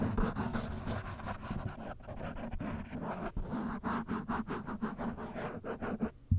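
A black foam windscreen on a microphone is cupped in both hands, then scratched and brushed with the fingertips and short nails. The result is a close, muffled rustling with heavy low-end rumble and little brightness, broken by quick scratching strokes that start and stop sharply.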